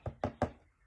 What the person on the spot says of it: it's 300 lb it's a little deeper heavier